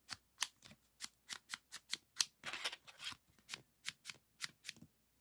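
Fingertips slide the shutter of a green 3.5-inch floppy disk back and forth and rub its hard plastic shell and metal hub. The result is a quick series of short, bright, dry scrapes and clicks with almost no low end, with a brief denser rubbing stretch in the middle.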